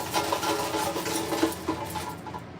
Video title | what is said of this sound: Make a Hearty Plant-Based Entree Salad with Cashew Ranch | shake them and you're gonna hear how crispy they are